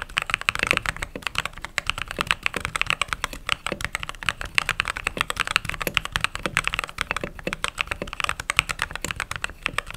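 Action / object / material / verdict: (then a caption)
tap / mechanical keyboard with plastic keycaps / plastic / none. Fingertips type continuously on a mechanical keyboard with white/cream plastic keycaps, producing a rapid, steady stream of short, crisp key clacks. The strikes are bright and dry, die away almost instantly, and carry little low-end weight.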